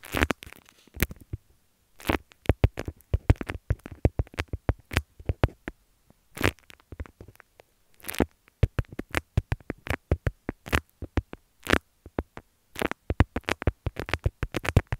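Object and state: Beeswax fabric wrap.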